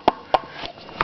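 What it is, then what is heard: Hollow-sounding frost-damaged chimney masonry. Brick chimney masonry with mortar joints is tapped three times, giving short, dry, hollow knocks with a midrange tone and almost no ring. The hollow sound reveals freeze-thaw damage: the mortar joints are pulverized and have been pushed outward.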